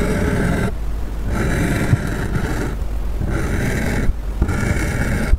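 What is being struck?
Polystyrene foam sheet scratched with a metal-tipped tool.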